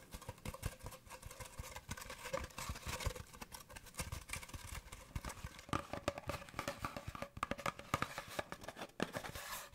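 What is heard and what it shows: An empty, hollow brown cardboard paper towel tube is held and moved close to the microphone while fingertips tap and rub along it. The result is a dense, continuous run of quick, dry, hollow-sounding taps with soft scratchy rubbing in between. Each tap dies away almost at once.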